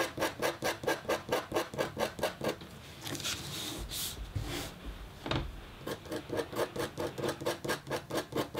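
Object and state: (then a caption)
Copper foil scratch art board. A red-handled, metal-tipped stylus makes fine scratching strokes across a flat, black-coated copper foil scratch art sheet. A fast, steady run of short, bright scratches is followed by a longer, smoother stretch of continuous scraping with a few brighter swipes. The quick, rhythmic strokes then return.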